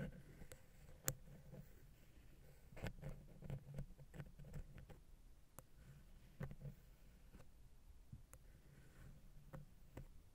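A wooden ear pick lightly taps and scratches the small, hollow, silver metal XY microphone capsule housing on a Zoom H6. Soft, close scratching and patter sit over a low, muffled rumble, broken by sparse, sharp, dry clicks that die away at once.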